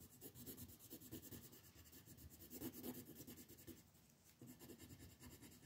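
A pink colored pencil scratches and rubs in quick strokes over a flat paper mandala coloring sheet resting on a table. It makes a soft, rhythmic, papery rasping with a low-mid body and a faint bright hiss, easing briefly before the strokes pick up again.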